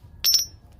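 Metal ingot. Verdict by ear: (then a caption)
Fake. A supposed Qing dynasty gold ingot is struck once, giving a single bright, high-pitched metallic ring that fades within a fraction of a second. The ring is too loud for old gold and sounds like silver, so the ingot is judged fake, likely gilded silver; it is also too light and shows white metal inside its characters.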